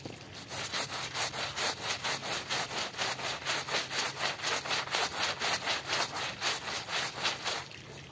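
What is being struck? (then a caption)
Woven textile rug scrubbed with a hand brush. A small hand brush, held in a yellow-gloved hand, scrubs a small dark patterned woven rug covered in soap foam. Steady back-and-forth strokes make a bright, bristly rasping sound at about two strokes per second, with each stroke swelling and fading.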